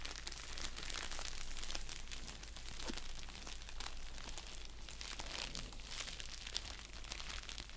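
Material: Paper, plastic.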